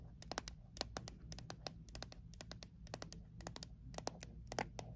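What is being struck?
Small metal mint tin.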